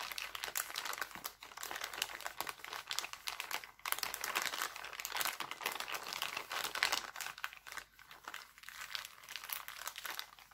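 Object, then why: Thin plastic cellophane bag. Hands smooth out and crumple an empty, thin, clear heart-printed plastic cellophane bag. The result is a steady stream of dense, bright crinkling and crackling with almost no low end, swelling and easing in small bursts throughout.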